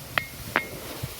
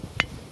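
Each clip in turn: First: Two sharp stone strikes, each leaving a thin, high ring near 2 kHz, the bell-like tone of a ringing rock. Second: One sharp, bright click that dies at once, the flat sound of an ordinary stone.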